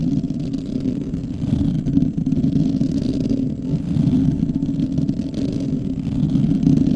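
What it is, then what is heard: Metal mesh microphone grille. Both hands scratch the hollow metal mesh grille of a large black microphone with fingertips and short nails. The result is a dense, continuous rasping rumble, heavy in the low end with almost nothing bright. Its loudness swells and dips slightly throughout.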